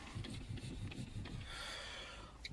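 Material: Metal.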